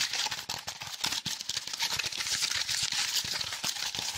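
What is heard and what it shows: A small block of brown honeycomb/corrugated cardboard with a hollow cellular structure is held near the mic and rapidly tapped and scratched with fingertips and nails. The result is a dense, fast stream of crisp, papery taps and scratchy rasps, bright and hissy with almost no low end.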